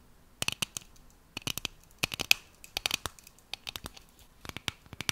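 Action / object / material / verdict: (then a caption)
tap / metal aerosol shaving cream can / metal / none. Long nails scratch and tap along the side of a tall, cylindrical metal aerosol can of shaving foam with a printed label, hollow and pressurized, held in one hand. About twenty-two sharp, bright clicks and scratchy taps come in uneven bursts with quiet gaps between them. Each is dry and stops at once, with almost no low end.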